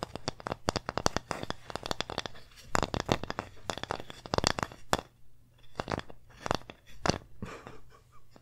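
A small, flat, solid wooden pumpkin-shaped plaque is held close to the mic and tapped and scratched with long nails and fingertips. Dozens of sharp, dry clicks and taps come in quick bursts, mixed with brief raspy scratches, over a faint steady low hum. Each tap stops almost at once, leaving close, crisp, woody clatter with short pauses between flurries.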